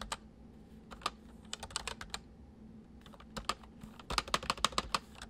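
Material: Plastic.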